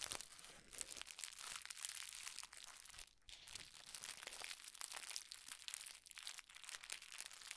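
Red tissue paper is rolled and crumpled in the hands, giving a steady stream of bright, dense crinkling and crackling with almost no low end. The sound stays busy throughout, easing only briefly into a short quiet gap a little past three seconds before the crumpling resumes.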